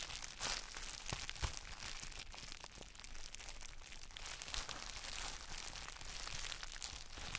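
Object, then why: Plastic bubble wrap around a chalk block. Gloved fingertips press and rub the clear plastic bubble wrap around a palm-sized gym chalk block held in both hands. The result is a steady, dense crinkling and crackling with bright, sharp ticks scattered throughout. A low rumble sits underneath at a fairly even level.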